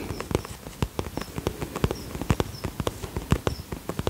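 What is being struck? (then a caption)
Soft vinyl zip pouch. Fingertips and nails tap rapidly along the front of an iridescent polka-dot holographic vinyl zip pouch, a soft-sided cosmetic pouch held in both hands. The taps come as quick, short, dull knocks with a low thump and little ring, in an uneven rhythm of about eighteen distinct hits.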